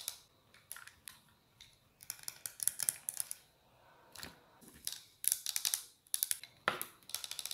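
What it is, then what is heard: Plastic sunglasses. Long polished nails tap on the dark lenses and frame of a pair of black plastic-framed sunglasses held up in the air. The result is quiet, dry, bright clicks and ticks in quick irregular clusters with pauses between them, with almost no low end and no ring after each tap.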